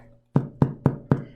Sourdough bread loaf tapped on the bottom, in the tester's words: It sounds nice and hollow on the back